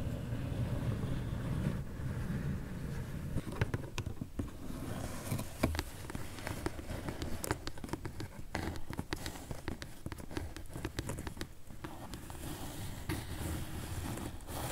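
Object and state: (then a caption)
Cardboard box. Long nails tap and scratch along the edges of a closed, medium pink corrugated cardboard shipping box. Many quick, dry clicks and scrapes sit over a steady low rumble, with the taps growing denser and sharper through the middle of the clip.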